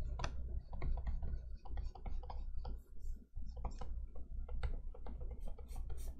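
A plastic stylus scratches and rubs quickly across the matte, etched-glass screen of an XP-Pen Artist 15.6 Pro pen display lying flat, in repeated sketching strokes. Short, dry scratches and taps sit over a steady low hum.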